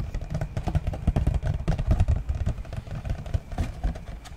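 A yellow printed cardboard book slipcase, rectangular and hollow and holding books, is held in one hand and tapped with the fingertips of the other. The clip is a rapid, continuous run of soft, hollow, low thumps with very short decay, deep and boomy with almost no bright content.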